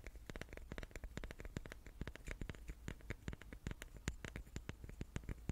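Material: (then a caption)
Wood. Long nails rapidly tap the faces of a hand-sized, solid, light wooden die with dark pips held in the hands. The result is a quick, irregular run of short, dry clicks with a low thump under each, each one dying away almost at once.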